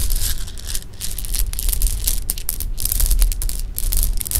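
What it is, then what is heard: Sugar-coated jelly beans. Fingertips drop and stir a pile of small, solid, hard-shelled sugar-coated jelly beans on a pink cloth. The beans click together in a steady stream of bright, crisp clicks over a low rumble.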